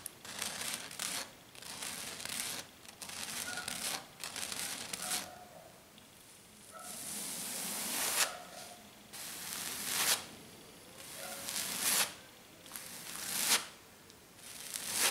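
Fingers with black nails tap and scratch fast across a flat silver glitter-covered sheet. Bursts of bright, gritty, tearing-like scratching come in irregular waves, with brief quieter gaps between them.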